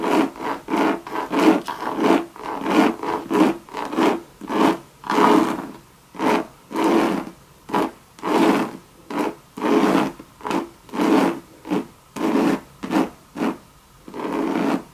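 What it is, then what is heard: Coated canvas handbag scratched with nails. Long red nails scratch a hollow Louis Vuitton monogram bucket bag of coated canvas with leather trim, making about 25 separate rasping strokes. Each stroke is a short, broadband scrape with a hollow, boxy resonance around 300 Hz, and the rhythm is uneven, with brief silences between strokes.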